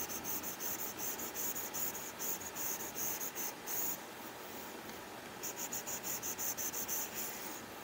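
A plastic Apple Pencil tip, held in the fingertips, draws quick strokes across an iPad's flat glass screen covered with a matte plastic screen protector film. About fifteen short, bright, scratchy rasps come in a rhythmic run, with a quieter, steady scrape in the middle before the rasping strokes return.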